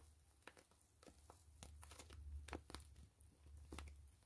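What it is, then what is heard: Plastic mesh zipper pouch being squeezed and scratched. A hollow gray plastic mesh zipper pouch is opened and squeezed while long nails scratch and crinkle the mesh. Quick, irregular crinkling and scratching bursts with short, dry, bright edges sit over a low, steady rumble.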